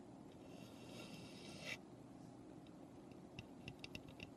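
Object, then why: Small raw pine birdhouse. Long nails scratch across the roof of a small, hollow, unfinished raw pine birdhouse, building to a bright rasp that stops sharply, followed by a quick run of light, crisp taps. A steady low hum sits underneath throughout.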